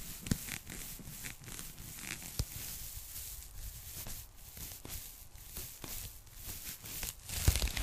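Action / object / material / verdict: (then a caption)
scrape / polyethylene foam packing bag / polyethylene foam / none. Long manicured nails and fingertips tap and scratch the surface of a thin, flat, light and flexible pink polyethylene foam packing bag held in front of the mic. The result is a steady crinkly, tearing-like scratching with bright hiss over a low rumble, broken by sharp soft taps that die away almost instantly.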